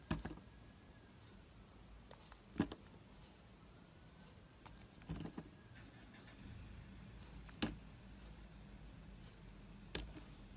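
A yellow utility knife cuts and chips an oval, solid, clear green glycerin soap bar with an embossed logo, held in the hand. Several short, sharp cutting clicks and crisp chips stand out at irregular intervals over a quiet, low background hum, each dying away almost instantly.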